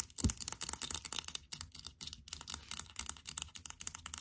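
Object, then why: Small hard plastic figurine tapped with long nails. A small blue hard plastic Stitch figurine held in the hands is scratched and tapped quickly and aggressively with long pink acrylic nails. Rapid, dry, bright clicks and scratchy rasps follow one another with no ring, over a faint low hum.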